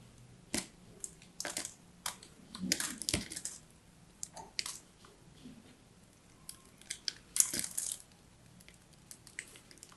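A small metal blade scrapes the layers off a solid striped bar of soap held upright. Repeated short, bright scratching and crunching bursts sound over a quiet background, with little low end. The shavings crumble with a crisp crushing texture.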